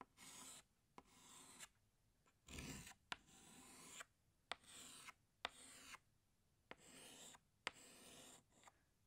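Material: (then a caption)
Chalk. A green chalk stick draws leaves on a flat black chalkboard in long, bright, rasping strokes, each separated by a short pause. Sharp ticks mark where the chalk touches down on the board between strokes.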